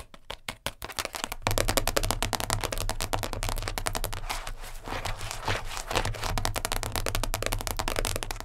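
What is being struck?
Plastic container lid.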